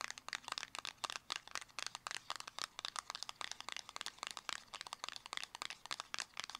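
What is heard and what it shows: Long acrylic nails rapidly tap and scratch a small, closed, hollow black square cardboard cosmetic box. The result is a dense stream of dry, bright clicks and crinkly scratches with no low end, each dying away almost instantly.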